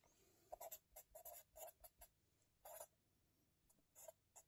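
A felt-tip marker writes on an open lined-paper spiral notebook resting on a table, held in fingers. It makes a quiet series of short, dry scratching strokes with a bright, papery hiss and a faint midrange squeak near 680 Hz. The strokes come in clustered bursts separated by near-silent pauses.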